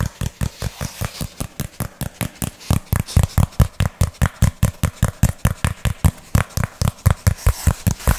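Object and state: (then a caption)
Cardboard sheet. A flat, brown, textured hand-sized piece of cardboard is held in both hands while fingertips and nails tap and scratch it quickly and aggressively. About 37 dry, deep thumps with faint scratchy highs come in a fast, slightly uneven rhythm, each dying away almost at once.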